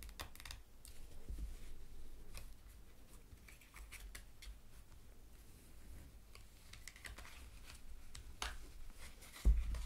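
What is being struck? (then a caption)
Stack of paper cardstock cards. Long matte black nails tap and scratch the top and edges of a stack of printed cardstock tarot cards lying on a cloth, making quiet, crisp ticks and dry rasping over a steady low hum. Near the end the cards are handled and fanned apart, ending in a sudden louder papery flutter.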